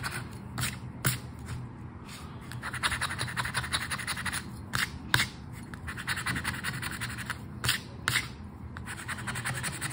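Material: Paper.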